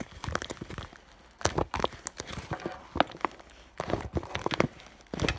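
Long nails tap and scratch on the front of an iridescent clear vinyl (holographic PVC) school bag around its fur heart patch. The result is a series of quick, bright, crinkly clicks in irregular bursts with pauses between them.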